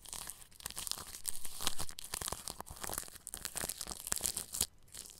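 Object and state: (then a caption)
Plastic cling film wrapped over a microphone. A bristle paintbrush brushes over clear plastic cling film stretched across a round microphone grille. It makes an irregular run of close, crinkly, scratchy strokes with bright, hissy crackle and soft low thumps. The strokes swell and fade with no steady rhythm.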